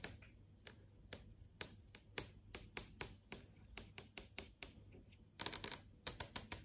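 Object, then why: TV screen, plastic and glass panel. Long yellow acrylic nails tap on the plastic/glass panel of a large TV screen showing search results. The taps are sharp, bright, clicky, and very short, with little low end. They come in spaced, irregular taps, then a quick flurry near the end.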